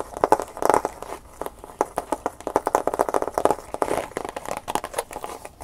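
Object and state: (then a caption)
Plastic blister pack. A clear plastic blister package holding a USB flash drive is held in the hands and tapped with the fingernails. A rapid, irregular series of short, crisp plastic clicks and light crinkles follows, centered in the midrange around 850 Hz, with little low or high end.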